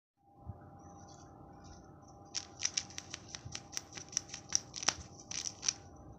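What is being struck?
Glitter-coated foil wrapper over a plastic egg.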